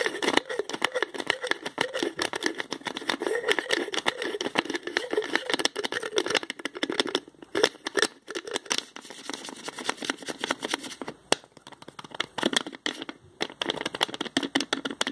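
A small spice jar's green plastic screw cap is twisted on and off with the fingertips, making a dense run of quick clicks, ticks and dry scraping with no low end and a bright, crackly edge. The ratcheting sound keeps up steadily for most of the clip, pausing briefly a few times in the second half before resuming.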